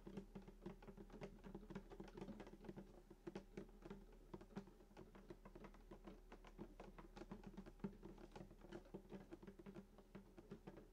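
Fingertips tap and patter rapidly on the top of a full-size sunburst acoustic guitar with a hollow wooden body and glossy finish, around the bridge. The result is a quick, steady stream of soft, dry taps that die away almost at once, each carrying a hollow, low body resonance with very little high content. A faint, steady low hum sits underneath throughout.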